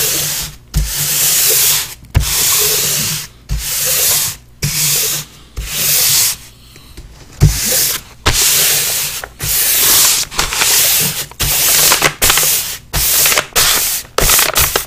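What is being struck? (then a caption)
Large paper sheet with pastel drawing. A flat hand and forearm rub and blend pastel across a large flat sheet of paper on a board. Repeated broad, bright, hissing strokes, separated by brief pauses and soft low thumps, smear the drawing.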